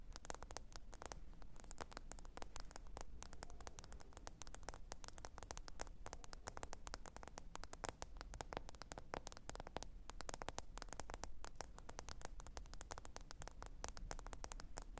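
Long orange almond-shaped nails rapidly tap and scratch across the glossy glass screen of a black smartphone lying flat on fluffy fabric. A dense, quiet stream of short, bright clicks with almost no ring sits over a steady low hum throughout.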